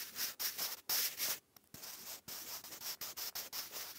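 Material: Paper.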